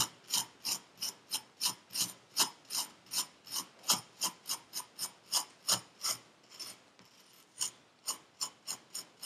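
A metal needle tool rakes and scratches purple kinetic sand packed into a paper cup, with crumbs on the table. About 24 short, bright, crisp scraping strokes come in a steady rhythm, each fading almost instantly. There is a brief quieter pause near the end before the strokes resume.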